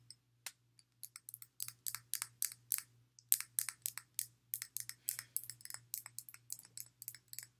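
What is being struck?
Glass water bottle.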